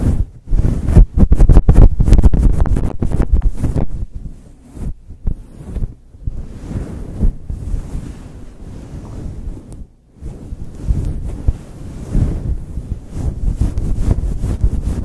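Fingertips and long chrome nails rub and scratch a soft, hand-sized, grey-white fluffy faux fur windscreen over a microphone. The result is a deep, muffled, rumbling scratching with quick rhythmic strokes, loudest in the first few seconds, a brief near-silence around ten seconds, then renewed rubbing. Almost all the sound sits in the low end with little brightness.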